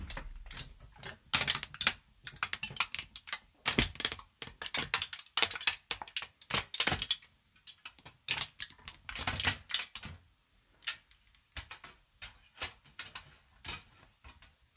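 A loosely crumpled thin sheet of aluminium foil is held in both hands close to the mic while fingertips and long nails crinkle and squeeze it. The result is bursts of sharp, bright crackling that start and stop in quick clusters with short silences between. Each crackle is dry and stops almost at once.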